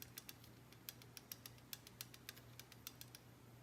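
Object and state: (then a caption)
Rocker arm with valve lash (loose). On an ILMOR Dart 440 LS engine being assembled, a steel rocker arm and pushrod are tapped after the rocker adjustment is backed off slightly while checking pushrod length. The result is a quick, uneven series of light, sharp, bright ticks with almost no ring, over a faint steady low hum. The audible tapping shows there is still valve lash, meaning play remains in the valvetrain.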